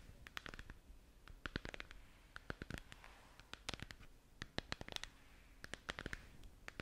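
Long nails tap and scratch the surface of a hollow, translucent plastic moon lamp sphere that is lit and held up in both hands. Quick, dry clicks come in uneven bursts, with soft scratchy rasps between them. Each tap is bright and dies away almost at once.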